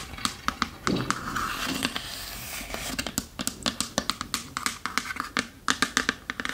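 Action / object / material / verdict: tap / small varnished wooden chest / wood / none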